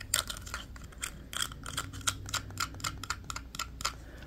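A small black hard-plastic walkie-talkie with a hollow body is held in both hands and tapped and clicked with manicured fingernails. About fifteen short, bright, hollow clicks and taps come in an uneven rhythm, each dying away almost instantly, with a faint resonant tone around 1.4 kHz over a quiet low background.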